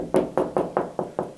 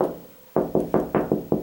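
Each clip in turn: First: Seven steady knuckle knocks, short and firm with a mid pitch and no boom: drywall backed by a stud. Second: Six quick knuckle knocks on drywall, each a short papery mid-pitched thud: hollow, no stud behind.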